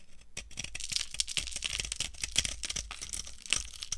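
A solid, dry orange soap bar with an embossed top is held in the hand and shaved with a metal knife into curled flakes. Rapid, crunchy scraping strokes follow one another closely, bright and crackly with little low end.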